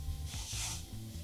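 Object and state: Nothing is struck.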